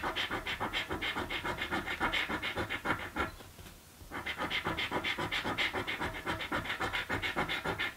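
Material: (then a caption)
Paper. A coin scratches the latex coating off a thin blue paper scratch lottery ticket in rapid, steady back-and-forth strokes, making a dry, bright rasping sound. The scratching stops briefly in the middle, then resumes at the same quick rhythm until the end.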